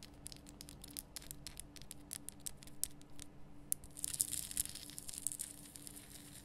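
Long nails scratch and tap on a large, lit pink Himalayan salt lamp, a solid rough rock-salt crystal. Quiet, crisp, bright clicks and taps come in a quick irregular stream over a faint steady low hum, then give way to denser, hissier scratching in the second half.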